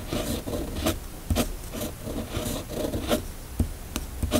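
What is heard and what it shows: A steel fountain pen nib on a red pen is drawn across a flat, thin sheet of white paper in continuous cursive strokes. The result is a soft, steady scratching and rasping that rises and falls with each stroke, punctuated by brief sharper ticks as the nib changes direction.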